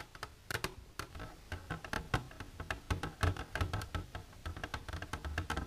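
Long silver nails on one hand tap the front wall of an empty, clear plastic container standing upright. The result is a rapid, irregular run of short, dry clicks, each with a hollow low thump underneath and a bright snap on top, dying away almost instantly.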